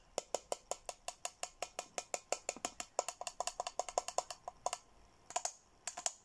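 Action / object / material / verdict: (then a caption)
tap / plastic tumbler / plastic / none. A hollow, seemingly empty teal Hello Kitty plastic tumbler, held in hand, is tapped rapidly with fingernails on the rim and side. About 34 short, dry clicks ring at around 711 Hz with bright upper overtones, in a quick, uneven rhythm. A brief pause comes near the end before a few final taps.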